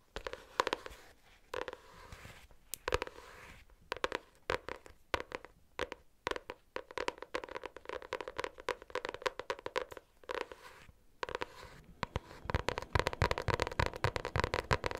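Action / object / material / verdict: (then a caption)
tap / hardcover notebook with cardboard cover / cardboard / none. A pink hardcover notebook with a cardboard cover, held close to the mic, is tapped with long nails fitted with metal paper clips. Bursts of sharp, dry clicking taps with a faint metallic ring alternate with short pauses, building into a faster, denser flurry of taps toward the end.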